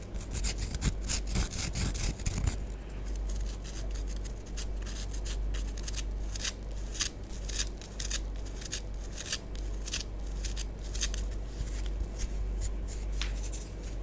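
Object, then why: Pressed-powder bath bomb. Long nails scratch and scrape a small, solid orange bath bomb held in the hand. The result is a steady stream of dry, gritty scraping with bright, crackly bursts over a constant low hum. The scratching is denser and louder in the first couple of seconds.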